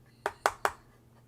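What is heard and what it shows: Three quick taps on the heavy metal back panel of a new Kinesis Advantage 360 ergonomic keyboard give short, dull knocks centered around 800 Hz that die away almost at once. The panel is a matte metal with a plastic-like feel, and despite its muted, non-metallic sound it is confirmed to be metal.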